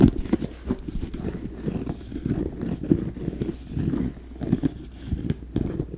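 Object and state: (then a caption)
Leather sneaker tapped. Fingertips and nails tap and scratch the leather upper and rubber sole of an empty, hollow red, black and white high-top sneaker held close to the mic. The result is a steady run of soft, muffled knocks and thuds centered low around 200 Hz, each dying away almost at once, mixed with light scratchy rustling.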